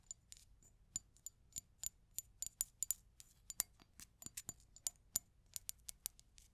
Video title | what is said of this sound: An ASMR Trigger Survey ☎️ | lastly we have glass tapping